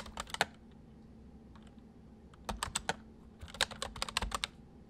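Both hands type quickly on a full-size white plastic mechanical keyboard with white keycaps resting on a wooden desk, fingertips pressing and tapping the keys. Short, sharp, bright clicks come in three quick bursts separated by a quiet pause, each click dying away almost instantly over a faint steady hum.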